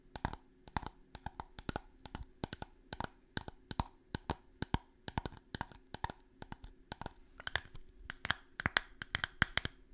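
A small, clear, empty-looking glass bottle held close to the microphone is tapped with long fingernails. It gives a quick, irregular series of sharp, bright clicks that die away almost instantly, with a faint steady low hum underneath.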